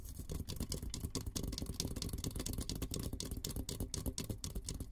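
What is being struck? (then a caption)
Steel helmet. Fingertips and nails scratch and tap rapidly on the top of an olive-green painted steel military helmet, a hollow dome, held close. A dense, steady stream of short crisp clicks and scratchy rustles rides over a low, hollow boom from the dome. Each tap fades almost at once.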